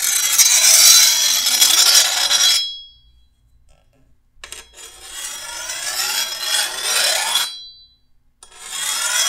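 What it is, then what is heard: Steel machete blade being filed. A hand-held metal file is drawn along the edge of a long, solid steel machete blade to sharpen it, in three separate filing passes with short silences between. Each pass is a bright, high, raspy scrape with a faint metallic ring, and the last pass is cut off at the end.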